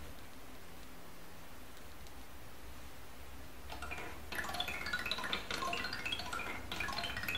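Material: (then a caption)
Wood. An unpainted, uncoloured wooden ball-run toy, the large Sazanami by Miura Kiji, sends wooden balls with bells inside rolling down its angled wooden bars. After a few seconds of quiet low hum, a gentle, xylophone-like patter of bright wooden taps and tinkling bell tones begins and grows busier, continuing unevenly to the end.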